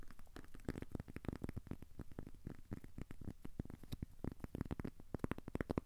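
A thin, solid, square cork coaster held in the hands is scratched with short fingernails. Quiet, rapid scratching strokes follow one another in a dense, uneven stream, each a short, dry, dull scrape with no ring and most of its weight in the low end.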